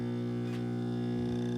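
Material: Nothing is struck.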